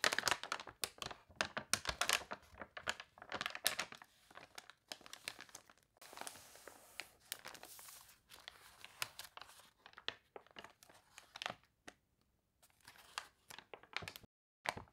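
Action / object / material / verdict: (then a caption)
scrape / glossy paper catalog / paper / none. Pages of a warped, glossy paper toy catalog are turned while fingertips and nails rub across them. Dense, bright crinkling and crunching bursts come close together, with a steadier rustling stretch in the middle and almost no low end. The sound fades to near silence before a final crinkle at the end.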